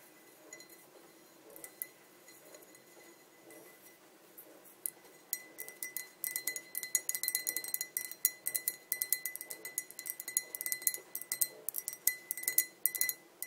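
Long nails tap the rim and sides of a tall, clear glass pint tumbler that is hollow and empty. Sparse, quiet clinks give way after a few seconds to rapid, irregular bright taps with very short ring, over a faint steady high tone.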